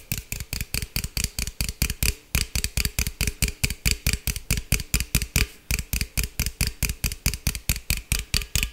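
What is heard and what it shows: A green aluminum beverage can, held sideways, is tapped and scratched with fingertips and nails in a quick, uneven rhythm of about forty short strikes. Each hit gives a dull, low thump with a bright, crackly scratch on top and dies away almost at once.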